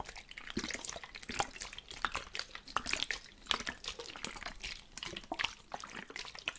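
A plastic spray bottle filled with water is shaken, and the liquid sloshes and splashes inside in quick, uneven bursts. The sound is bright and watery with short, sharp splashes and little low end.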